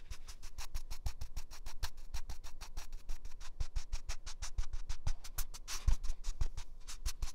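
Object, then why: Paper toilet roll. A large, full roll of soft white toilet paper with a hollow core is held beside a binaural microphone and rubbed and scratched by hand and fingertips. It makes a rapid, steady run of short, dry scratching strokes with soft thumps underneath.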